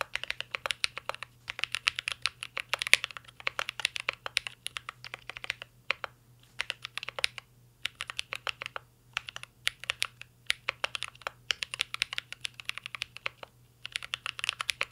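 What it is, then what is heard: Mechanical keyboard with metal case and plastic keycaps. Fingertips of both hands type continuously on a mint green Cyberboard R3 mechanical keyboard with a metal case and plastic keycaps. Rapid, bright, crisp key clacks come in bursts with brief pauses, over a faint steady low hum.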